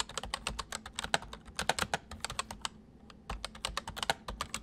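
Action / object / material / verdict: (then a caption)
tap / plastic mechanical keyboard / plastic / none. Both hands type quickly with their fingertips on a full-size white plastic mechanical keyboard with white keycaps, resting on a wooden desk. A rapid run of sharp, bright clicking keystrokes breaks briefly for a short pause before the fast typing resumes.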